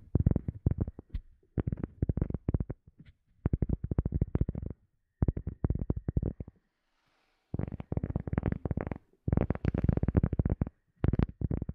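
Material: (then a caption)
Cork. A cork object is tapped in fast, soft bursts. It makes dull, low, woody knocks that die away at once. Clusters of rapid taps are separated by brief pauses.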